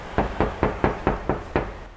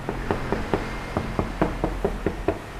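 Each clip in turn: First: Seven quick knuckle knocks on a bare steel car panel: a hollow, drummy thud with no damping layer behind it. Second: A steady run of about eleven short, dull knocks on a car body panel that sounds dense and solid.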